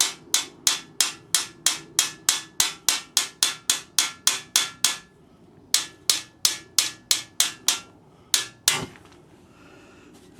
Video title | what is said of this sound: Jim's Allotment - Plot 9 - Pimp My Greenhouse Part 2 | you'll hear the sound of the tap changing